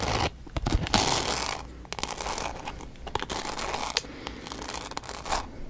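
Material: Glitter.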